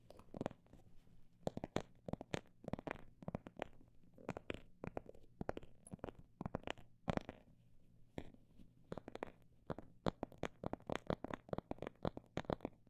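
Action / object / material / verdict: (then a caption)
tap / faux snakeskin phone bag / faux leather / none. Fingers tap on a phone bag made of imitation snake skin, producing dozens of short, dull, soft taps in an irregular rhythm, some in quick bursts and others spaced apart. Each tap is brief and muffled with no ringing, over a faint steady low hum.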